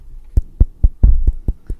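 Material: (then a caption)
Bone. A person taps her own forehead seven times, giving short, dull, low knocks with almost no ring and a faint low hum between them. The solid, bony sound shows her forehead is natural bone with no fat grafting or filler.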